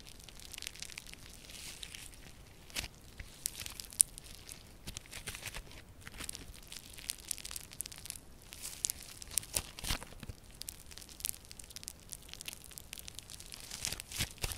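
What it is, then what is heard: Crunchy foam-bead slime. A handful of yellow crunchy foam-bead slime is squeezed, stretched and torn by both hands with purple nails. It gives a steady, quiet bed of dense, bright crunching and crackling with scattered sharper pops throughout.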